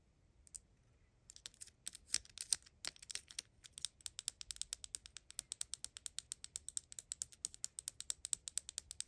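A small, hollow, dark plastic soy sauce dispenser replica with a red cap is held in the fingers and tapped and scratched with long acrylic nails. The sound is a quick run of crisp, bright clicks with almost no low end, starting sparse and then settling into a steady, rapid rhythm. Each click dies away instantly.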